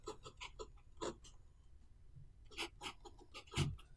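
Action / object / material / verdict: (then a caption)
scrape / pen nib on a paper notebook page / paper / none. A blue pen writes small Chinese characters near the bottom of the right page of an open paper notebook resting on a wooden table. Short, bright scratching strokes come in quick bursts, with a few louder taps, over a low steady hum. The pen tip scratches and strokes across the paper.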